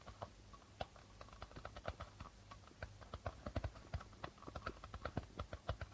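A medium darbuka hand drum with a hollow reddish body and a white plastic head is lightly tapped and scratched across its membrane by the fingertips and nails of the right hand. Quiet, short, dry taps with a soft low thump come in an uneven, rapid patter, with faint scratchy brushing between them.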